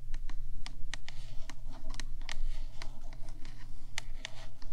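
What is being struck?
Metal microphone housing.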